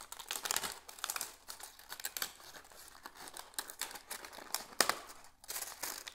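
A large, dry, brown-orange dead plant leaf is held in both hands while the fingertips crinkle and crumple it. The result is a dense run of bright, dry crackles with almost no low end, rising in bursts and peaking in a sharp snap just before the five-second mark. Each crackle stops almost instantly, leaving no ring.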